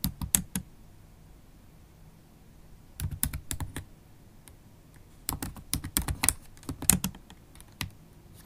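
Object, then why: Plastic laptop keyboard keys. Long acrylic nails and fingertips type on a MacBook Pro keyboard with black plastic keys set in an aluminium body. Sharp, bright clicky taps come in quick bursts around 0–0.6 s, 3–3.8 s and 5.3–7.8 s, separated by quiet pauses, and each tap dies away almost instantly.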